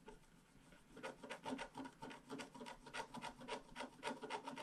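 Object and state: Scratch-art paper page.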